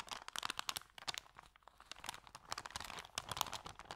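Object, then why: Paper sandwich bag. Hands fold, bend and crinkle an empty white paper sandwich bag with yellow print. The result is a quiet, continuous run of dry, crisp crackles and rustles, mostly bright and high with almost no low end.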